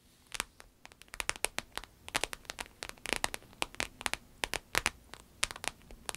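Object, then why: Patent vinyl wallet with embossed texture. Long nails tap and scratch the embossed surface of a small, rectangular, glossy red patent vinyl croc-embossed wallet that lies closed and flat. About thirty sharp, bright clicks sound in an irregular patter, each dying almost instantly, with faint scratchy rasps between them and almost no low end.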